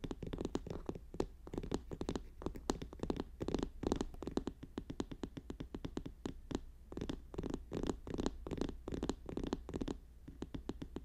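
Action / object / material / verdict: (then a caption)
tap / paper notebook / paper / none. Fingers tap and scratch quickly on a paper notebook, making a dense run of short, dry clicks. Some taps are sharper and brighter, set over a soft, steady low hum.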